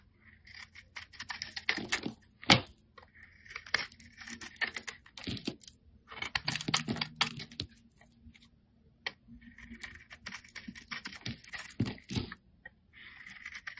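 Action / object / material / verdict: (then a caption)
scrape / rectangular bar of soap / soap / none. A solid pale-green rectangular soap bar is held in the hand while a flat metal blade shaves thin layers off its face. Bursts of dry, crisp scraping come in clusters with short clicks and bright, hissy texture between quieter pauses.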